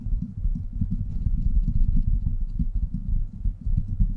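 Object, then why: Woven steel mesh microphone grille. Both hands scratch and tap the hollow, rounded woven steel mesh grille of a large silver USB microphone with fingertips and short nails. The result is a dense, irregular stream of quick, deep, muffled thumps and rustling scratches, almost entirely low in pitch with no bright top end, each tap dying away almost instantly.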